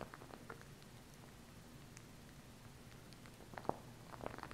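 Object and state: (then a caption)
Plastic glue stick. Long nails tap and scratch along the tube of a small plastic glue stick with a red cap and purple base. Soft, irregular clicks and scratches sit over a quiet, low background hum. A few sharper, brighter taps stand out near the end.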